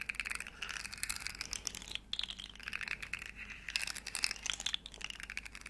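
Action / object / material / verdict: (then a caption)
tap / segmented plastic slug fidget toy / plastic / none. A small hollow rainbow plastic segmented slug fidget toy is held in the hands, its segments flexed and clicked while long nails tap and scratch it up close. Dense, bright plastic clicks and crackly scratching come in quick bursts, with a few brief pauses between them.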